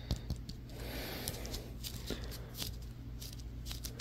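Fingertips and nails tap and scratch the stitched leather cover and stitching of a solid, hand-sized yellow softball held in the hands. Quick, dry taps and short scratchy rasps with bright clicking edges come in fast succession over a steady low hum.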